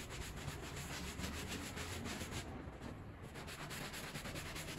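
A gloved hand scrubs a small, soapy, bear-shaped pile rug lying on a plastic sheet with a white handheld brush. Quick, steady back-and-forth strokes make a continuous wet, scratchy rustle over a low rumble. The high end briefly softens near the middle before the brushing carries on at the same pace.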